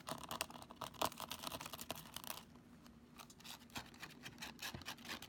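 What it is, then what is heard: Plastic calculator tapped with nails. Long nails tap and scratch over the keys, screen and casing of a black plastic graphing calculator held upright. The result is a quiet, rapid run of bright, dry clicks and scratchy ticks with very short decay, easing to a softer patch in the middle before picking up again.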